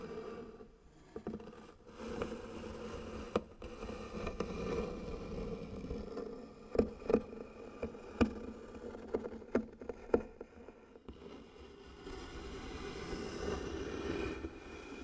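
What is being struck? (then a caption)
Engraved wooden box. Long nails scratch slowly and firmly along the engraved lettering on the lid of a medium, light-colored wooden box, likely hollow. The result is a steady, rasping scrape with a low-mid hollow tone, broken by sharp clicks and ticks where the nails catch the grooves.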